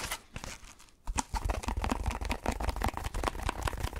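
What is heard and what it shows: A dark speckled, solid foam block is held close and scratched quickly with fingers and nails. After a brief quieter second, a dense run of fast, crinkly, crunching scratches follows, with a heavy low thump under each stroke and a short dry finish with no ring.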